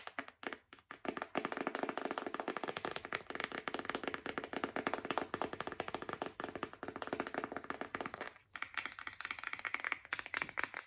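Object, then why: Bundle of paper envelopes. A thick, hand-sized pack of yellow-bordered paper envelopes, a solid stack of paper held in both hands, is tapped rapidly with long acrylic nails. The result is a dense, continuous stream of short, dry clicks and taps with almost no ring. The taps are crisp and mid-toned, pausing briefly near the start and again around eight seconds.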